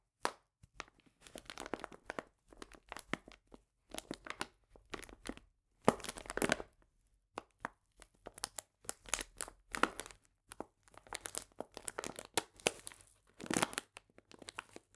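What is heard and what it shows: A medium printed paper bag full of cane sugar is squeezed and crinkled by hands, with the sugar shifting inside. Short bursts of dry, crackling paper crinkle and gritty crunching come in uneven clusters separated by brief silences, spreading from low rustle up to bright crackle with no ringing tail.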